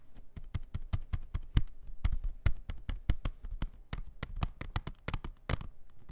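A plastic CD jewel case is tapped in a quick, uneven series of short, dry clicks. Each tap stops almost at once, with a low, dull body under a faint bright tick.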